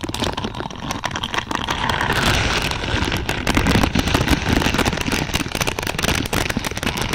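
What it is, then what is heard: Plastic bristle pad. Long purple nails scratch and tap among the thin, flexible plastic or silicone pins of a large lavender spiky bristle pad. The result is a dense, continuous stream of crackling, rapid clicks and rustling scrapes across lows and highs, swelling slightly louder partway through.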